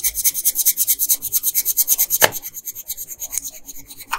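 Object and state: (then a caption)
Colored pencil scratching on paper. A pink wooden colored pencil rubs quickly back and forth across a flat printed paper coloring page on a table while coloring in a bow. About 27 rapid, dry scratching strokes are heard, bright and hissy with almost no low end, with one sharper louder scrape just past the two-second mark before the strokes grow softer and less even.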